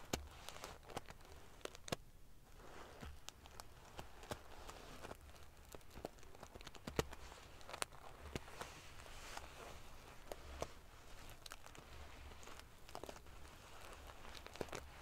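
Fingers and long nails ruffle the rows of silver metal pieces on a large padded metal-sequin fabric pillow. The result is a quiet, steady rustle of dry, prickly crackling and clicking, dotted with sharp bright ticks that stop almost instantly, over a low, faint background rumble.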